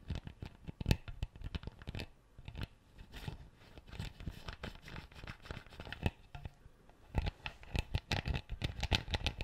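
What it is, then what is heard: Plastic bottle cap. A plastic screw cap on an empty clear PET bottle is scratched and twisted with fingertips and nails. The result is dense bursts of dry, crackly clicks and scratches with soft low thumps, pausing briefly around the two-second mark and again near seven seconds before picking back up. Each click is sharp and dies instantly with no ring.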